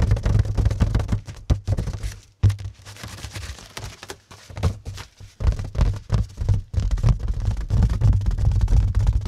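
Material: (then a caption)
Plastic film. Fingertips and short nails scratch and tap on crinkled plastic cling film wrapped tightly over a flat, roughly 30 cm square mirror set in a white cardboard mat. The result is a dense, irregular run of quick, dry taps and scratchy rustles, with a heavy low-pitched thump under each hit and almost no ring after it.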